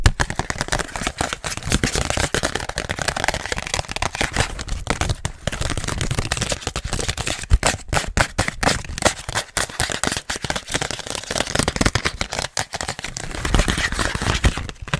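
A small flat red Boston Pizza gift card on a printed cardboard backing, held in the hands, is tapped and scratched quickly with long nails. The result is a dense, continuous run of sharp clicks and scratchy crackles. Each one is very short and dry, with a fair amount of low thump under the bright scraping.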